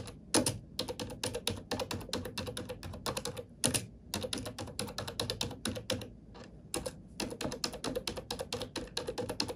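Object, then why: Plastic computer keyboard. Fingertips with long nails type steadily on a black plastic computer keyboard, producing rapid, crisp clicks and taps with a bright edge. The typing pauses briefly at a few points before continuing at an even pace.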